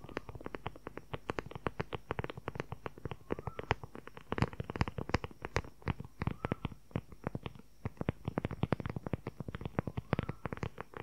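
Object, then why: Leather-covered journal. Fingernails tap and scratch quickly on the cover of a dark brown, book-sized leather journal with a strap. A dense stream of short, dull, dry clicks with a low thump lands in uneven bursts, each stopping almost instantly, with faint scratchy rustles between taps.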